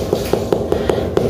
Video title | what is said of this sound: Albañiles de calidad así quedo nuestra cocina en mi hogar | va golpeando el ladrillo y va escuchando que no se escuche hueco